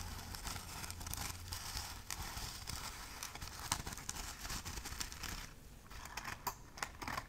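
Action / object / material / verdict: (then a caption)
scrape / burlap-covered Christmas ornament ball / burlap / none. Long nails scratch and tap a palm-sized Christmas ball covered in burlap jute fabric and trimmed with a red ribbon and pine sprig. A dense, rough, crackly scratching runs throughout, punctuated by sharper, brighter taps. The texture eases into a quieter stretch just before the last few crisp taps.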